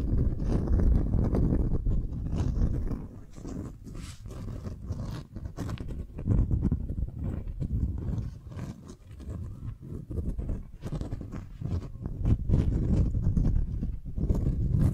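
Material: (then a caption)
Waxed cotton. A folded beeswax-coated cotton wrap sheet is held in the hand while long nails scratch and tap it and fingers crinkle the waxy fabric. The result is a dense, irregular stream of soft crinkles, scrapes and muffled taps, heavy in low tones and with little brightness. The sound dips quieter in a few stretches before swelling back up.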